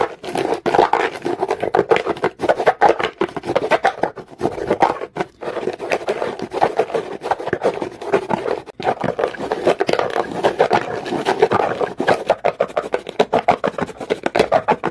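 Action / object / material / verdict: scrape / rough stone scratched with a comb / stone / none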